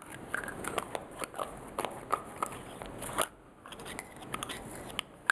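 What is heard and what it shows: Fingertips and nails tap a blue frosted glass perfume bottle's shiny silver metal cap, then remove and replace it. The result is a rapid series of sharp, crisp clicks and light crackling taps with a bright ring around 1.6 kHz. A brief quiet pause falls near the middle before the tapping resumes.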